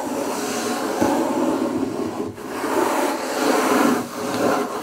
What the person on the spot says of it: Scratching and tapping on wood table (+ fingerpicks)